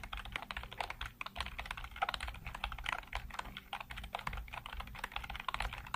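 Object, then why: Plastic computer keyboard. Fingertips type rapidly across a full-size black plastic computer keyboard with hollow keycaps, heard close up. A fast, uneven stream of short, dry, clacky key taps with a bright edge, each dying away almost instantly over a faint low hum.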